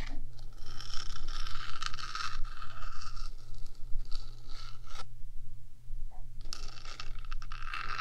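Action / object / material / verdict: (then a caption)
scrape / metal microphone housing / metal / none. One hand with long nails scratches and taps the top of the black, hollow metal box of a 3Dio microphone. Dense, bright scraping runs in bursts, pausing briefly near the middle before starting again. A steady low hum sits underneath throughout.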